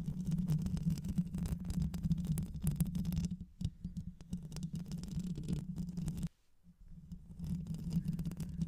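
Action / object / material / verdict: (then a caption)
scrape / microphone with metal mesh grille / metal mesh / none. Long nails scratch and tap the mesh grille, likely metal, of a black hollow microphone, making a dense, muffled, rumbling scratch with a steady low hum around 150–200 Hz and fast, irregular crackles. The scratching eases briefly near 3.5 seconds, drops almost to silence for half a second just after 6 seconds, then builds back up.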